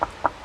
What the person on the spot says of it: when I knock on it it almost sounds Hollow